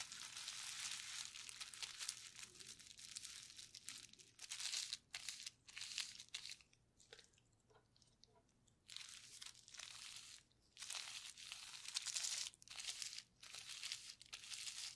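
A clear plastic bubble wrap sheet with hollow air bubbles, covered in wet paint, is pressed and rubbed by gloved hands and fingertips. The result is bursts of bright, crinkling, crunchy rustling that fill the upper range, broken by short near-silent pauses, with a longer quiet stretch in the middle.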